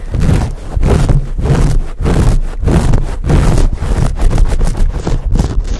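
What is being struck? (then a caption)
Foam microphone windscreen. Both hands scratch and squeeze a dark, fuzzy, hand-sized foam windscreen sitting on a microphone capsule, working it with fingertips and nails. The result is a close, heavy rumbling crackle, almost entirely deep low-frequency thumps and scrapes. It comes in uneven, rapid bursts with brief dips between them.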